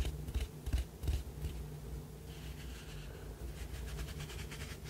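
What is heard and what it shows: A small white ribbed ceramic cup, hollow with its open end facing forward, is tapped on the rim and ribbed side with fingertips and nails. A few distinct dull taps come early, then give way to quieter, faster light tapping and bright nail clicks. The taps die away quickly over a steady low hum.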